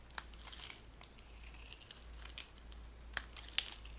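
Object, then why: Bar of soap scraped with a metal blade. A metal blade scrapes the surface of a cream-white oval bar of dry solid soap, peeling off thin crumbly shavings. It makes quiet, bright, dry crinkling and scratching sounds with irregular sharp ticks over a faint low hum.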